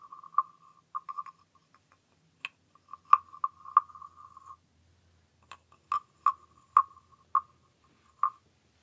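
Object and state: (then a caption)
Wooden frog guiro. A small, hollow, green wooden frog guiro is scraped with its wooden stick, giving about fifteen short, clicking, croak-like rasps. Each rasp has a steady woody tone near 1.2 kHz and a bright click on top, spaced by brief silences. At the end, the frog is handled by hand.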